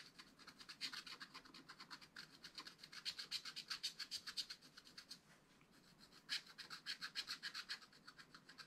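A wooden stylus scratches tree trunks into the black-coated card of a flat, spiral-bound scratch-art pad. It makes quick, dry, bright scratching strokes in uneven bursts, with a short quieter pause partway through.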